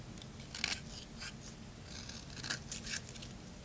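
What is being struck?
Bar of soap shaved with a blade.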